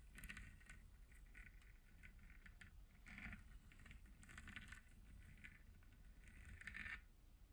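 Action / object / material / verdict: scrape / textured plastic spherical lamp shell / plastic / none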